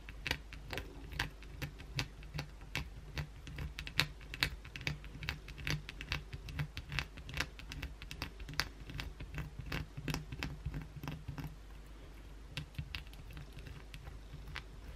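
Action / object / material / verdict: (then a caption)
scrape / soap bar scratched with acrylic nails / soap / none. Long, pointed blue acrylic nails scratch fast at a solid white oval bar of soap held in the hand. The result is a rapid, irregular run of short, dry scratching clicks that snap bright and fade almost at once, over a steady low hum.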